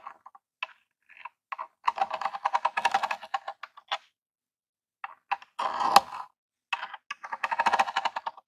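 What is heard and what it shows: The front of a small grey hollow plastic Super Nintendo Classic console is tapped rapidly with a long jeweled acrylic nail. Quick, dry plastic clicks come in dense bursts, with a brief pause in the middle and a louder rustling scrape just before the tapping resumes.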